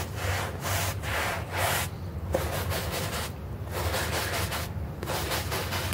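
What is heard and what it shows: A hand brush is dragged in long scrubbing strokes across a small, foamy, green artificial-grass synthetic turf doormat. The result is a broadband, scratchy rustle that swells with each stroke and thins in brief pauses between them, over a steady low rumble.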